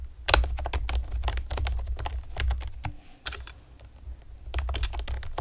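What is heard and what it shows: Long painted nails and fingertips rapidly tap a pastel plastic typewriter-style computer keyboard with round retro keycaps and hollow keys. The result is a fast run of sharp, bright clicks over a steady low hum, easing briefly near the middle before the tapping picks up again.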